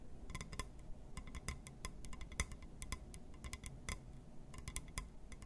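A glass surface is tapped and scratched, producing a quick run of light clinking, ticking taps. Each tap is short and bright with almost no ring, over a low, dull background rumble.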